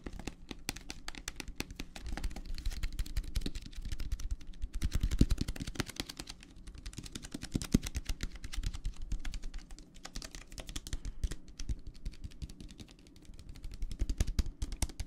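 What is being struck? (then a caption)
Plastic tumbler filled with gel water beads. Fingertips tap quickly on a clear plastic tumbler full of teal gel water beads, held in the hands. The result is a dense stream of short, dry clicks over a low, soft rumble, with brief louder bursts.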